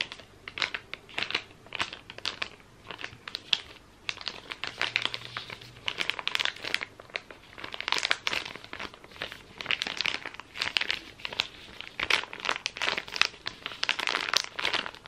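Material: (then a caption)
Soft plastic. A soft plastic wet wipes packet held in both hands is crinkled by the fingers and scratched with the nails. Dense, bright crinkling and scratching bursts run through the whole clip, almost all high-pitched with no low-end body.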